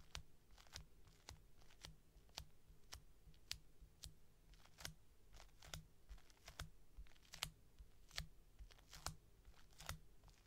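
Long painted nails tap and scratch steadily across the surface of a small, solid, white round panda-face squishy made of soft polyurethane foam resting on a table. The result is a quiet run of sharp, bright clicks and short crunchy scrapes, with a faint steady low hum underneath.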